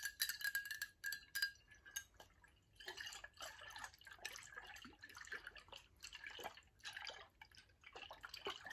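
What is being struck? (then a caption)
Glass water bottle with liquid. Long acrylic nails tap quickly on a tall VOSS glass bottle held sideways and partly filled with liquid. The first two seconds bring bright, short glassy clinks with a ringing tone near 1.6 kHz, then the tapping grows softer and denser as the liquid sloshes and trickles inside. The sound is quiet, with almost no low end.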